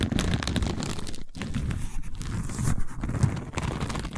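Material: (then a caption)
Seagrass. Long nails scratch and tap a long cylindrical tube covered in a woven seagrass/straw weave. The result is a steady, dense crackle of scratchy, crunchy texture, mostly low and muffled with very little brightness, pausing briefly now and then.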